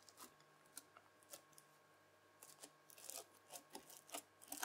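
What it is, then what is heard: Bead-filled floam slime. A white plastic fork drags and scratches across folded red bead-filled floam slime. It makes quiet, crisp, crackling scrapes in short bright bursts, and they grow denser and louder toward the end over a faint steady hum.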